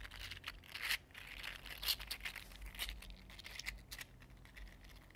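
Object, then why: Small 3D printed plastic articulated slug with hollow linked segments. A small, mini-size green iridescent 3D printed plastic fidget slug with hollow, linked ridged segments is held in both hands and bent and flexed with the fingertips. Its segments click and rub against each other in quiet, irregular bursts of bright, crinkly ticking and scraping, with a few sharper clicks standing out over a faint low hum.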